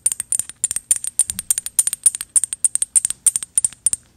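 A small gold metal bottle with an ornate cap is held upright and tapped with paperclip fake nails. Quick, irregular bright metallic clicks come in uneven clusters, each dying out almost at once with a thin, high tick and very little low end.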